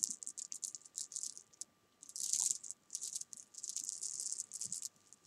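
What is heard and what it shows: Small solid jelly beans on a sofa are tapped and rolled under fingertips and long nails, making a quick, bright, dry patter of tiny clicks in irregular bursts. The clicks pause briefly near the two-second mark, then return with a denser rolling rustle, over a faint steady tone.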